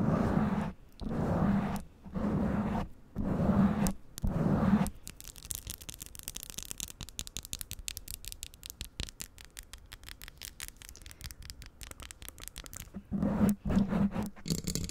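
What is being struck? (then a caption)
Foam microphone windscreen. Long nails and fingertips scratch and rub a soft black foam windscreen covering a microphone capsule. Five broad, muffled rubbing bursts come first, then a long stretch of quick, crisp, irregular scratches with bright edges, before two more rubbing bursts return near the end.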